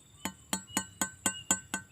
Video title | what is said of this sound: TIPS MEMILIH ARIT YANG TAJAM,DAN CIRI CIRI ARIT YANG TAJAM. | berbunyi Ting Ting Ting itu pertanda Bahannya bagus